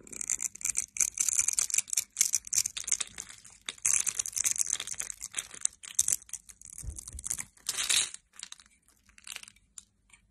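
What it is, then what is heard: Bar soap being scraped and cut. A metal utility blade scrapes and slices the scored surface of a solid oval bar of teal soap held in the hand, and soap cubes pile below. The sound is a steady run of dry, bright, crisp scraping and crackling, with many short, sharp cuts that fade into scattered quieter scrapes at the end.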